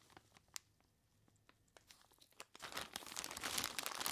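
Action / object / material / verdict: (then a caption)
scrape / plastic bag of crushed ice / plastic, ice / none. Purple nitrile-gloved fingers squeeze and scratch the front of a large clear plastic bag full of crushed ice. Sparse, quiet crinkles and sharp ticks come first, then from about two and a half seconds in they build into a dense, louder, bright crunching and crackling that grows to the end.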